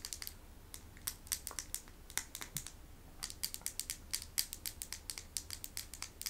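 Small hand-painted medicine stones are tapped in a rapid, uneven series of sharp, bright clicks that stop almost instantly. A faint low hum sits underneath.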